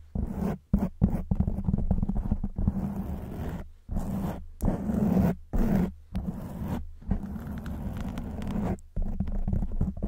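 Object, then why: Foam microphone windscreen. Long white nails scratch a black foam windscreen on a silver microphone, making dense, close scraping and rustling bursts broken by short pauses. The sound is low and muffled, with a steady low hum underneath and almost no bright content.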